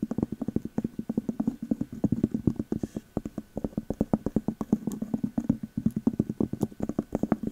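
Long metal nail caps tap and scratch on a clear glass candle jar with a thick cork lid and paper label, striking both the glass and the cork top. A rapid, steady run of dozens of short, dry taps carries a muted low-mid tone around 220 Hz. Each tap dies away almost instantly, with little bright ring.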